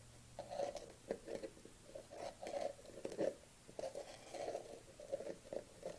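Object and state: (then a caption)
Plastic tub tapped with fingernails. Long nails tap and patter on the lid rim of a dark plastic collagen supplement tub held in the hand. The result is quick, clustered clicks with a hollow plastic tone around 600 Hz and faint bright ticks, each dying away almost at once.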